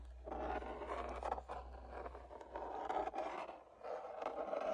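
Fingertips and nails tap and scratch along the body and upper throat of a long, hollow, wall-mounted black tooled leather sword sheath with gold-stitched lines. Soft, dry scraping and scratching in the midrange rises and falls in several bursts, with light taps mixed in and a low hum beneath the first half.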